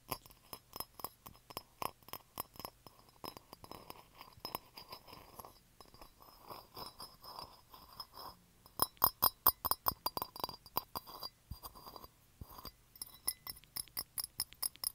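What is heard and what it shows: Fingertips and nails tap and scratch the sides and rim of an empty, hollow, light blue ceramic coffee mug with a handle, standing on carpet, with an earbud mic held close. Quick, uneven bursts of sharp, bright clinks with almost no ring are broken by stretches of softer, rasping scratches. The taps grow louder and punchier partway through.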